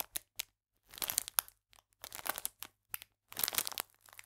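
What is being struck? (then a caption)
Clear plastic biscuit bag. A full, clear plastic biscuit pack is squeezed and crinkled with fingers and nails, then held upright. Short, quiet bursts of bright, crisp crinkling and crackling come in irregular clusters separated by silences. There is almost no low end and no ring after each crunch.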